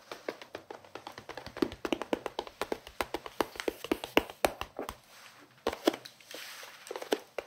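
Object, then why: Plastic pencil case. A hollow bear-print pencil case, likely plastic, is held up and tapped across the lid with fingertips and nails. The result is a quick, steady run of short, dry clicks and taps with little ring, pitched in the mid range with some bright edges. There is a brief pause and some soft rubbing before the tapping picks up again.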